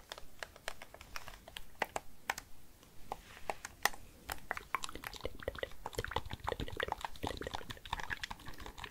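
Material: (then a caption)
Plastic. A hollow, handheld white-and-black plastic PS5-style gamepad is held in both hands while fingertips and nails press and tap its buttons and sticks. A rapid, irregular stream of short, dry plastic clicks and taps follows, sounding much like typing on a keyboard, with a few sharper, brighter clicks standing out.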